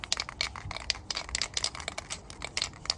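A small cylindrical metal aerosol spray paint can with a white cap is held in one hand and shaken vigorously, so the mixing ball rattles inside. Around eighteen quick, sharp, bright metallic clicks come in an uneven rapid rhythm, each dying away almost instantly with very little low end.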